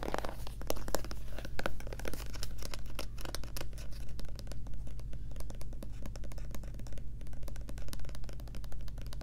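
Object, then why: Plastic lotion bottle. Long nails tap and scratch rapidly on the sides and front of a white plastic Lubriderm lotion bottle as it is turned in the hands. Dense, quick, hollow clicks and scratchy rasps run throughout over a steady low hum.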